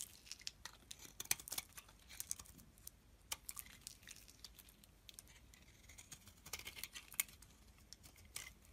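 A solid beige soap bar, held in the hand, is scraped with a metal blade into curls. Quiet, bright, dry scraping and crackling strokes come in irregular bursts with almost no low end. Each stroke cuts off instantly, with no ring.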